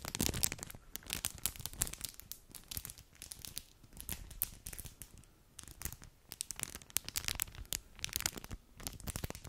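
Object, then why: Foil-plastic snack wrapper. An empty or nearly empty small, flat metallic foil-plastic snack wrapper is held in both white-gloved hands above a microphone and crinkled and bent with the gloved fingers. Dense, bright crackling and crinkling comes in quick, irregular bursts with short pauses between them, at a fairly quiet level.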